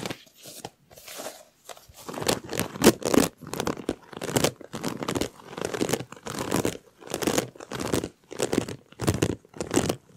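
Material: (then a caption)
Plastic. A large, hollow, empty white plastic corrugated collapsible tube, slinky-like, is held in both hands with fingertips and short nails and stretched, bent and compressed in front of a microphone so its ridges rub together. It produces bursts of dry crackling and crinkling with a bright, scratchy edge, separated by short near-silent pauses. The sound starts soft, then settles into a steady rhythm of loud, close-up crackles.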